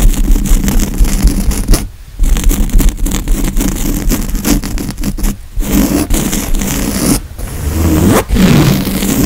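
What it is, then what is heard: Woven fabric couch cushion being scratched. Fingernails of both hands scratch the padded grey woven fabric of a couch cushion, making a dense, continuous rasping scrape with a heavy low rumble. The scratching runs in quick bursts with brief pauses near 2, 5.5, 7 and 8 seconds.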